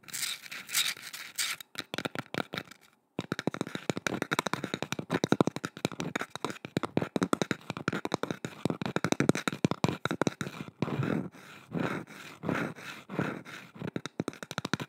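Long nails rapidly scratch and tap a curved, solid, painted wooden boomerang-shaped carving held at the microphone. The result is a dense stream of short, dry clicks and scratchy rasps with almost no ring, broken by a brief silence near the three-second mark.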